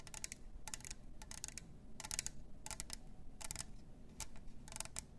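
Long nails tap rapidly on the clear lid rim and the sides of a plastic glitter tumbler cup with a straw. The tapping comes as quick clusters of sharp, bright clicks that stop almost instantly, over a steady low background hum.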